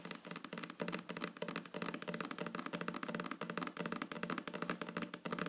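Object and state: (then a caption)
Solid wooden tabletop. Long fingernails on both hands tap rapidly on a solid, flat wooden tabletop. The result is a dense, steady flurry of quick, dry clicks with a bright, woody tick around 1.2 kHz, each dying away almost instantly.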